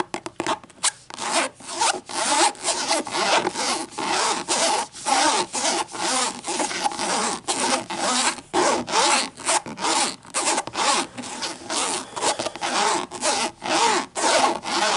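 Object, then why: Hardcover book with textured cloth cover. Long green nails scratch back and forth along the textured edge of a thick hardcover book's black cover board, held edge-on. The result is a steady run of dry, raspy, bright scratching strokes, about two per second and somewhat uneven, each with a quick, dry stop between strokes.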